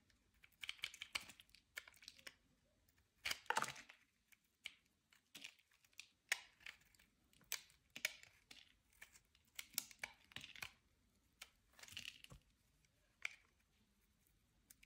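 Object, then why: Bar soap scraped with a blade. A utility knife blade scrapes thin, curly shavings off a solid, palm-sized bar of brown translucent soap held in the hand. The clip is a series of quiet, crisp, dry scraping and crinkling bursts, bright and high-pitched with almost no low end. Each burst ends abruptly, separated by near silence.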